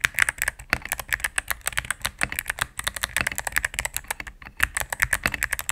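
Rapid typing on a cream full-size mechanical keyboard with plastic keycaps on a solid plastic case, pressed with fingertips and medium nails. Dense, quick clicky taps with bright, sharp attacks and almost no ring, continuing steadily for nearly six seconds.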